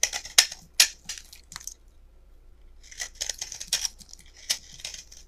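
A solid peach-colored rectangular bar of soap, held in both hands, is chipped and scraped with a metal utility knife blade, and flakes break off. Bright, crisp scraping and crackling bursts come in quick, uneven strokes, with a brief quiet pause in the middle before the scraping resumes.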